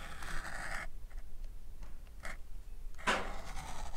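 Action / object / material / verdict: scrape / leather knife sheath / leather / none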